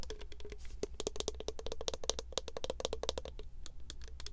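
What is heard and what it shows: Long nails tap rapidly and steadily on the gold cap and body of a tall, clear plastic body mist bottle with green print, filled with liquid. The taps are short, dry clicks with a faint hollow tone around 450 Hz and bright tips. A steady low hum runs underneath.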